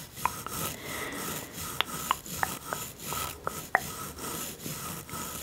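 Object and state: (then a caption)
Wooden toy teeth being brushed. A bamboo toothbrush with blue bristles brushes back and forth over the small, solid, painted wooden teeth of a toy dental set, with long-nailed fingers resting nearby. Soft, airy rasping strokes swell and fade in a steady rhythm. Short, sharp wooden clicks punctuate the strokes throughout.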